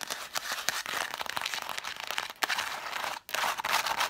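Long black nails tap and scratch fast on a stack of red cloth-bound hardcover books, spines facing out. The result is a dense stream of quick, dry clicks and papery scratching, bright and without low end. It is broken by a brief near-silence just past the three-second mark before the busy scratching resumes.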